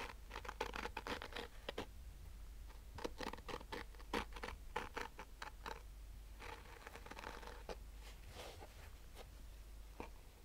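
Fingernails slowly scratch the woven fabric top of a hollow, black, Polaroid-branded hard-shell sunglasses case covered in nylon mesh. Short, dry, raspy strokes come in uneven bursts, bright and scratchy with a faint hollow body, over a steady low hum.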